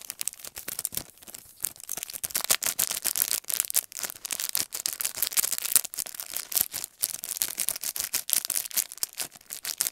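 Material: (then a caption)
Plastic. Fingertips and nails rapidly tap and scratch the clear plastic sleeve of a handheld paintbrush set, a long narrow package with brushes on a cardboard backing. The sound is a dense, fast run of crisp, bright clicks and scratchy crinkles with almost no low end. Each tap is short and dry, with no ring.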